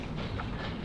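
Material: Nothing is struck.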